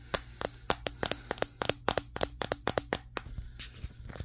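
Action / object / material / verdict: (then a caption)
tap / glass-backed smartphone / glass / none. Fingertips of both hands tap rapidly across the matte glass back of a handheld Samsung Galaxy S23 smartphone, producing 19 sharp, bright clicks that die away almost instantly. The taps come in a quick, irregular rhythm over a faint low steady hum, growing softer and more scattered toward the end.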